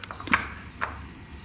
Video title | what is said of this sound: Snode AD50 vs Core Home Fitness Adjustable Dumbbells - Better deal than Nuo bell ?? | They're sitting a little tighter, and you'll hear them just a little bit.